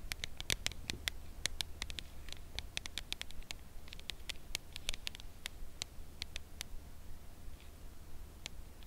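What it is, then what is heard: Full cardboard chocolate box. A full red Lindor cardboard chocolate box, held in both hands, is tapped with long nails on its narrow side. Quick, dry, bright clicks come at an irregular, fairly brisk pace, denser at the start and thinning toward the end, over a steady low hum.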